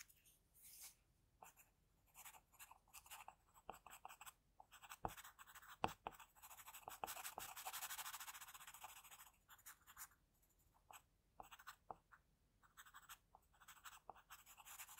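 An HB graphite pencil held in the fingers makes short sketching strokes across a flat sheet of drawing paper with a pencil portrait, resting on a table. The quiet, dry scratching comes in irregular bursts of bright hiss, with a few sharp ticks near the middle and a longer sustained stroke soon after.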